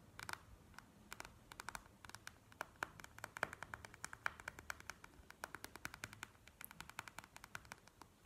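Long nails tap and scratch quickly on a plastic gel-bead eye mask lying flat on a table. The result is a rapid, uneven string of dozens of short, dry, bright clicks centered around 1.4 kHz. Faint scratchy rustling runs underneath, and each click dies away almost instantly.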